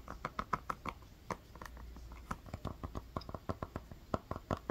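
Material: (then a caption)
Rubber. Long fingernails tap and scratch the black rubber outsole of a sneaker, with square lugs and orange inserts, held up close. The result is an uneven run of short, dull clicks with quick decay and a soft, low body, broken by brief scratchy passages between taps.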